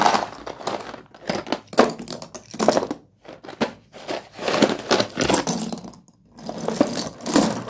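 Fingertips rake and crush through a large pile of small, solid broken slate pencil fragments in a cardboard box. Dense bursts of gritty, crunchy clicking and crackling rise and fall, broken by brief silent pauses. The crisp, bright crunching dies away almost instantly after each burst.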